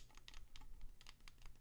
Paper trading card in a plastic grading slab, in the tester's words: you can hear it makes noise. So both of these are rattling around.